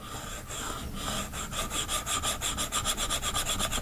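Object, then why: Plastic stylus tip on a glass tablet screen. A plastic stylus tip rubs quickly back and forth over the glass screen of a large iPad lying flat, shading, while a hand rests at its bottom edge. The result is a bright, rasping scratch in rhythmic strokes that grows louder and more distinct after the first second. Steady high tones ring through the strokes.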